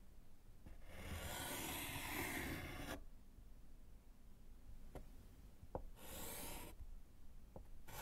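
A gloved hand writes with yellow chalk on a small, solid slate chalkboard set in a wooden frame. A long, bright, gritty scratching stroke runs for about two seconds, followed by a few short sharp ticks of the chalk. A second shorter scratching stroke comes, and another begins at the very end.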